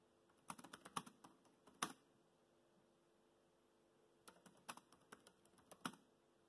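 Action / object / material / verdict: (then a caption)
tap / plastic laptop keyboard keys / plastic / none. Fingertips type on a laptop keyboard with black plastic keys, producing quick, light clicking taps. The taps come in two short bursts separated by a pause of near silence. Each keystroke is a brief, bright click that dies away almost instantly, over a faint steady hum.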